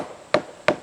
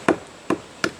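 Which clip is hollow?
The second.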